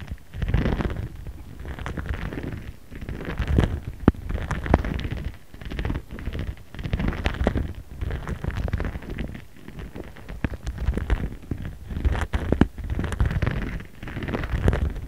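A jade face roller is rolled back and forth across a clear, printed pink plastic pouch resting on a cutting mat, with the pouch held in place by the other hand. A low, rumbling, crinkly rubbing rises and falls in waves, scattered with tiny sharp clicks and crackles.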